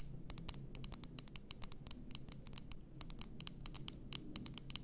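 Long nails tap and scratch the sides and upper glass of an upright, full glass bath salt bottle. Quick, bright clicks come in a fast, uneven patter over a steady low background rumble, and each tap dies away almost instantly.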